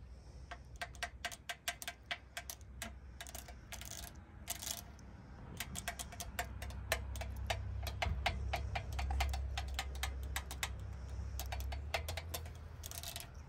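Long acrylic nails rapidly tap and scratch across the vertical slats and surround of the large chrome-plated metal front grille of a pink Rolls-Royce Cullinan. Quick, uneven runs of short, dry, bright clicks with a faint ringing tone near 650 Hz are broken by a few brief scratchy swipes. A steady low rumble sits underneath and swells in the middle of the clip.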